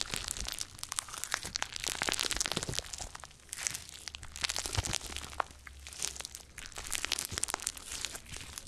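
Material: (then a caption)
Slime. Gold glitter slime is kneaded and pressed between the fingers and palms, then pulled into a long rope with both hands. Dense, squishy crackling and crinkling pops run throughout, bright and close, with many rapid overlapping clicks over a faint low hum.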